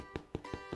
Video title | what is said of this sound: Breathtaking Places to Visit in Ireland: Cliffs of Moher, Belfast, Galway & More - 1st Look TV | When you have a nice hollow sound, then it's cooked on that side.